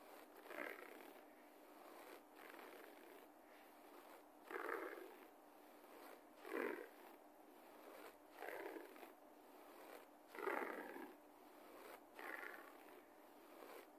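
A left hand scratches a low-pile beige carpet floor with fingertips and nails while the right hand grips the pile. Soft, rasping scratch strokes rise and fade in a loose rhythm about every two seconds, with a dry midrange texture and no low rumble.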